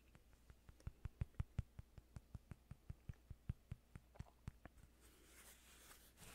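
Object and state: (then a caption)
Cork coaster. Fingertips tap and scratch a small, flat cork coaster held close to the microphone, giving about 22 short, dry, evenly spaced ticks with a low thump in each and almost no ring. The tapping fades out after about five seconds, and a soft, bright scratching texture over a faint low hum takes its place.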